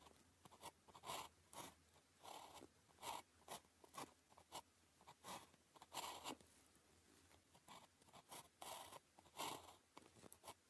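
A ballpoint pen held in the fingers scratches strokes onto a flat sheet of thin paper with a red grid while writing characters. Short, dry scratching bursts come in an irregular rhythm, bright and papery with little low end, separated by quiet pauses.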